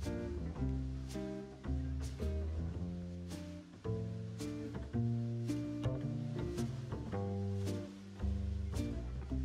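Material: Nothing is struck.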